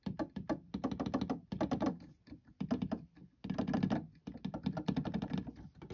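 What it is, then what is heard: Plastic electronic keyboard keys. Fingertips repeatedly press and tap the white and black plastic keys of an electronic keyboard, solid keys over a hollow body, with the instrument sounding no notes. The result is bursts of rapid, dull, low-pitched clacks and thunks with very little brightness, each dying away almost at once, separated by brief pauses.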